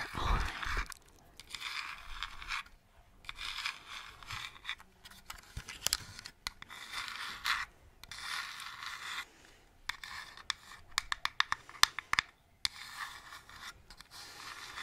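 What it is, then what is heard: Plastic toy lantern. Long nails scratch and tap the plastic sides of a purple hollow plastic toy lantern lit from inside. Bursts of bright, rasping scraping alternate with sharp, clicky taps.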